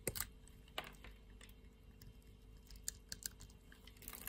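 A utility-knife blade scrapes and cuts across the grid-scored surface of a solid pink-red soap bar, shaving it off in cubes. Quiet, crisp clicks and short bright scraping snaps come at irregular intervals over a low, steady background hiss. Each cube breaks away with a dry, brittle crackle that stops almost at once.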